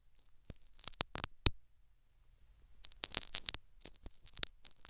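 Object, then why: Metal needle scratching foam in a silicone ear microphone. A metal syringe needle prods and scratches a foam plug in the canal of a silicone dummy ear microphone. Sharp, bright crackling scrapes and pokes come in two bursts, with a quiet pause between them and a faint low hum underneath.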